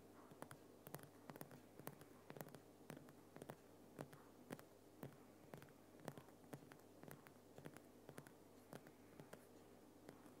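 Fingernails scratch quickly across the rough surface of a large, solid, lit Himalayan rock salt lamp. Short, dry scratches and clicks come in an uneven patter, with bright crackly edges and almost no ring. A steady low hum sits beneath the quiet scratching.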